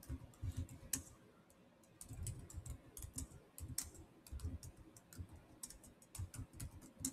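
Bare fingertips type quickly on a Samsung laptop keyboard with black plastic keys in a silver body. The result is soft, dull tapping with short, bright clicks, in quick bursts with a brief lull after the first second.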